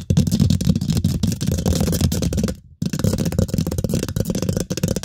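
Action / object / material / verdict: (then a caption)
scrape / steel mesh microphone grille / steel mesh / none. Long pointed pink acrylic nails scratch and tap rapidly over the hollow steel mesh grille of a microphone head. The result is a dense, continuous crackling rustle with a heavy low-frequency rumble and rapid short taps. It pauses briefly near the three-second mark before resuming.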